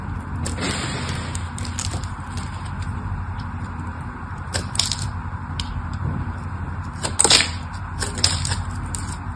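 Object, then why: Solid bar soap scraped and cut with a metal blade. A metal blade scrapes across the scored face of a solid mauve-purple bar of soap and cuts pieces off it. Bright, crisp scraping and crackling bursts come and go over a steady low rumble, with the sharpest, loudest snap near the end as a piece breaks away.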